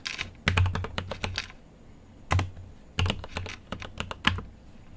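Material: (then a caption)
Plastic. Fingertips type on a mechanical keyboard with an aluminium case and plastic keycaps. Quick bursts of sharp, bright clacks sit over a deep, low thock on each press, and each stroke dies away almost at once. Short pauses separate the bursts of keystrokes.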